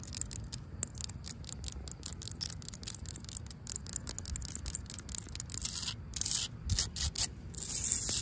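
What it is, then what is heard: Ribbed plastic fence cap scratched with nails. Long pink acrylic nails rub and scratch along the ribs of a corrugated yellow plastic safety cap, a hollow ribbed tube on top of a chain-link fence. It makes a steady run of bright, dry scratchy ticks over a low rumble, growing louder and harsher in the last couple of seconds.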